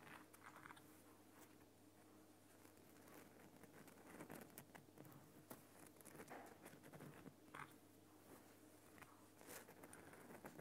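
Fingernails of one hand tap and scratch the side of a large, solid, lit Himalayan rock salt lamp. Soft, dry clicks and scratchy rasps patter irregularly and quietly throughout, over a steady low hum.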